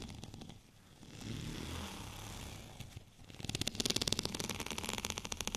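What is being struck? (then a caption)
Bumpy plastic rolling pin. Fingernails scratch a white, bumpy plastic rolling pin lying horizontally. For about the first three seconds there is a soft, continuous rasping rub. It then turns into a louder, rapid run of dry, bright clicking ticks as the nails catch on the bumps.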